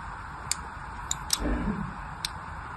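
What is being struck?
Bar of soap.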